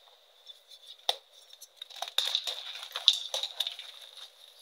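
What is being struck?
Magnesium carbonate chalk block.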